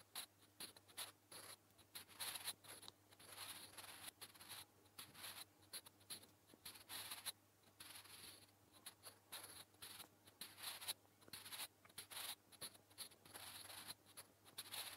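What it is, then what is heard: Pencil writing on a paper notebook page. A sharpened wooden graphite pencil scratches and strokes across a flat grey lined notebook page, writing Korean text. The result is a quiet, bright, papery scratching in short bursts and longer strokes, with brief pauses between them.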